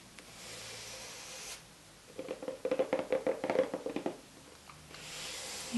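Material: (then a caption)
Cardboard. Fingertips with short painted nails tap on the lid of a long, narrow, dark green cardboard box for a Harry Potter wand, lying on a carpet, then rest on it; the box is hollow and its contents are not visible. About eleven light, quick, slightly uneven taps give short hollow knocks with a pitch near 520 Hz, between quiet stretches of soft hiss.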